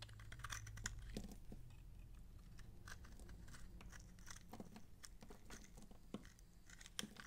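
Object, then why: Bar of soap scraped with a knife blade. A utility knife blade scrapes the flat face of a dry purple massage soap bar held in hand, shaving it into flakes and chips. Quick, irregular dry scratches and crisp crunchy clicks ring out bright and short over a low, steady hum.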